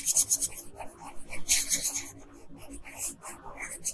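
A pink wooden colored pencil rubs and scratches across a flat paper coloring page, shading the bodice. Quick bright, raspy strokes come in bursts, loudest at the start and around the middle, with softer scratching between them.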